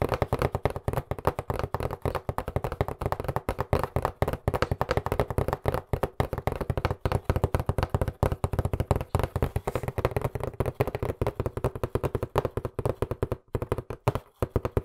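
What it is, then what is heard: Cardboard box. Fingertips and nails rapidly tap and knock on the sides of a hollow white cardboard box with black print, held close to the mic. About a hundred quick, dry, hollow thuds come in a steady, uneven stream, each dying away almost at once. The sound is mostly deep and boomy, with very little bright edge.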